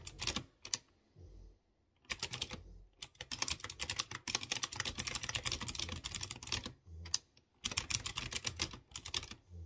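Fingertips type quickly on a typewriter-style mechanical keyboard with chrome-rimmed round keycaps on exposed blue switches. Bursts of bright, sharp clicky keystrokes with almost no ring are broken by brief pauses and low hums between runs.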